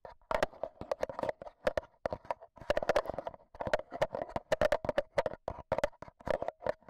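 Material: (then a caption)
Metal mesh. A black Zoom H1n handheld recorder is held in hand while AA batteries, worn like long nails, tap on its metal mesh microphone head. The result is rapid, irregular clicky taps with short, dry decays, clustered around a mid-range ring that shows bright transient edges.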